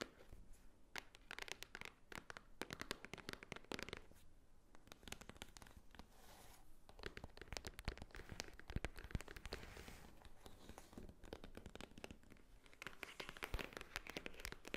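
A white Swarovski-branded paper envelope, held upright on a table, is scratched and tapped with long painted fingernails. The result is a quiet, steady stream of dry paper crinkles, scrapes and short, sharp taps that die away almost instantly, all running together over about fifteen seconds.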